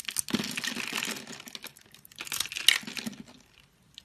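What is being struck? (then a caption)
Bar of soap. A utility knife scrapes small cubes off a solid orange bar soap that has been scored into a grid and is held in the hand. Two bursts of dry, bright crinkling and crumbling are heard, the second with a sharp click partway through, before it trails off quietly.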